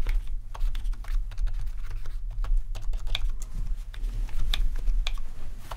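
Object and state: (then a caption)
Plastic membrane keyboard. Both hands type rapidly with their fingertips on a full-size black plastic RGB membrane keyboard with rainbow backlit keys. A dense stream of short, dull clicking key taps rises and falls over a steady low hum.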